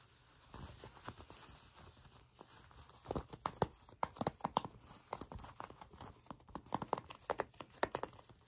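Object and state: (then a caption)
Faux leather trousers being scratched. Long pink nails scratch and rub the glossy surface of black faux leather pants, with the trouser fabric bunched between the fingers. Soft, low rustling rubs fill the first few seconds, then from about three seconds in comes a dense run of short, sharp crinkly clicks and scratches centered around 900 Hz. Each click is dry and dies out almost instantly.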